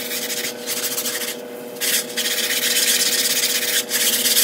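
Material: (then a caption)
Synthetic fibre. A small white sponge held in the fingertips scrubs back and forth across a large, flat, grey patterned synthetic woven rug covered in soap foam on a tile floor. It makes bright, hissy rubbing strokes broken by short pauses, over a faint steady low hum, and the strokes grow louder toward the end.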